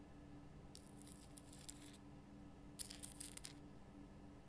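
Long painted fingernails of both hands scratch the rough natural crystal surface of a large pink Himalayan rock salt lamp, a solid block lit from inside. Two quiet bursts of bright, dry scratching and crackling sound over a steady low hum, with a few sharper ticks in the second burst.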